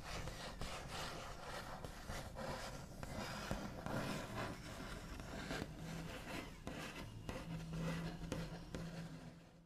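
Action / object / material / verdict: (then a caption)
scrape / wooden tabletop / wood / none. The backs of long nails tap sparsely and trace across a solid, flat, white-finished wooden tabletop. The result is a quiet, continuous scratchy rubbing with a low, dull body, broken by occasional soft taps with short decays.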